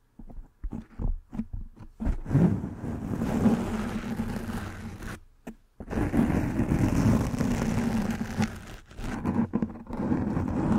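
A soft black foam windscreen over a microphone head is tapped and scratched with fingernails. A run of short, muffled taps gives way to dense, rustling scratching with a low, booming rumble. The scratching pauses briefly and then resumes, interrupted by a few more taps.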